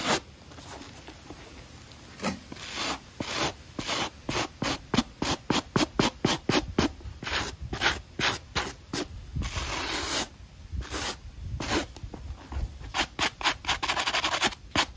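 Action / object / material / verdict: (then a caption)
scrape / knit mesh running shoe with foam sole / fabric mesh / none. A small black stiff-bristle brush scrubs an empty black knit mesh running shoe with a white foam midsole, held in hand, working over the textured outsole and the upper. Rapid, irregular bristle strokes give bright, dry scratching and rubbing bursts with short pauses between them.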